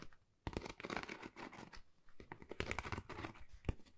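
Long nails scratch across a flat, pale pink, pebble-textured Dior cardboard folder that is thin and hollow. After a brief quiet start, dry, papery scratching comes in uneven bursts with a hollow low thud under it, ending with one sharp tap near the end.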